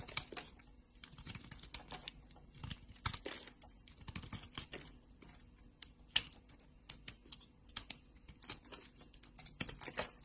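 A green and purple solid bar of soap, held in a hand with long nails, is sliced and scraped with a utility knife blade. It makes a quiet, irregular run of crisp, bright cutting and scraping ticks that die away almost instantly, with one sharper crack near the middle.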